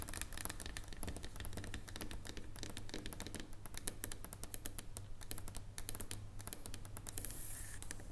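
Long nail tips tap rapidly in a typing-like motion on a solid dark chocolate bar lying on a table. The result is a steady, irregular stream of short, crisp clicks with bright edges over a constant low hum. Near the end, a brief bright hiss rises.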